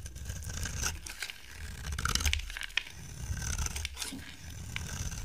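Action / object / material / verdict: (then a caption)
scrape / bar of dry soap / soap / none. A solid oval bar of dry yellow soap, held in the hand, is shaved with a utility knife blade. Irregular dry scraping and cutting strokes rasp with a bright, crisp edge over a low background rumble. Curled shavings come off the bar.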